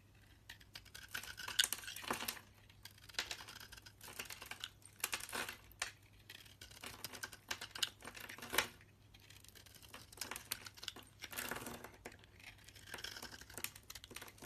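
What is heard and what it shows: A hand-sized solid purple bar soap, held in the hand, is shaved and carved with a metal utility knife blade. Dense bursts of bright, crisp scraping and cutting come in quick clusters, separated by short quiet gaps.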